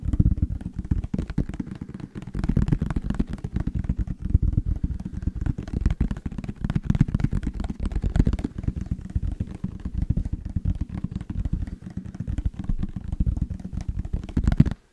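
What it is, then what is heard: Plastic squeeze bottle. A yellow plastic mustard squeeze bottle with a label is held in both hands and tapped and scratched with the nails. Rapid, dense, dull tapping and scratching runs continuously for about 15 seconds, heavy in the low end with very little high-frequency content.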